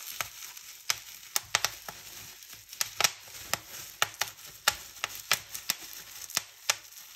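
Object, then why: Plastic bubble wrap. A large clear polyethylene bubble wrap sheet with hollow air cells is held in both hands while long painted nails and fingertips pinch, pop and crinkle the bubbles. Sharp, bright pops with very short decay ring out at irregular intervals over a steady high crinkling hiss.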